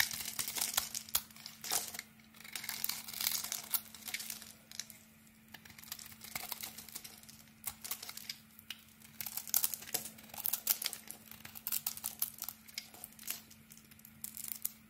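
A utility knife blade carves a solid pink "Nature" soap bar with a cream interior into shavings, making dense, crisp scraping and crinkling sounds that are bright and airy. The cuts come in quick bursts with short pauses, over a faint steady low hum.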